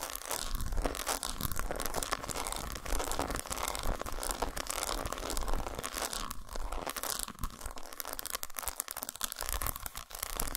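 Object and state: Dark chocolate bar.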